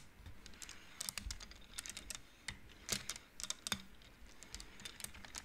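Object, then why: Wooden abacus beads on rods. Fingertips push the painted wooden beads along the rods of an upright wooden-frame abacus so they knock together. The result is an irregular run of quick, dry, bright clicks that die away almost instantly, with a few louder knocks standing out near 1, 3 and 3.7 seconds.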